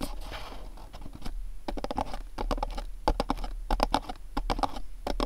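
Fingernails tap the top and sides of a small, dark, printed cardboard candle box standing on a cloth. After a soft, scratchy rustle, a run of quick, irregular, dry clicks follows, each with a hollow papery tone that stops almost instantly, over a low background hum.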